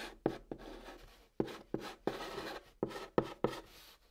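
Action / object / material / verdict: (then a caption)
scrape / chalk on cardboard box / cardboard / none. A white chalk stick held in the fingertips writes letters on the top of a large, flat, hollow brown cardboard box, scratching across the surface. Eight sharp taps mark the strokes, each followed by a dry, papery scratching hiss with a hollow boxy tone, separated by short pauses.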